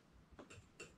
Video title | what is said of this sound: So, you want to be a Coyote Hunter. Part 1, Tripods | more of a solid thud than a high ping noise